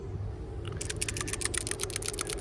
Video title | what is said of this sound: Week 2 Lab Video Justin and Leo | you can hear it rattle around it's pretty loose